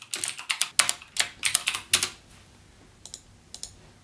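Fingertips type rapidly on the clicky Cherry MX Blue switches of a backlit plastic mechanical gaming keyboard, giving quick bursts of bright, sharp clicks with almost no low end and no ring. After a busy flurry of keystrokes for about two seconds, the typing thins to a few isolated clicks before falling quiet.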